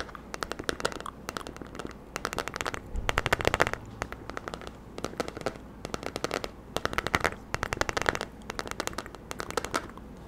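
Fingernails scratch and tap the smooth, lemon-patterned plastic oval back of a hairbrush held in one hand, close to the mic. The result is bursts of rapid, dry, crackly clicking that start and stop in clusters, with bright high-end detail and very short decay.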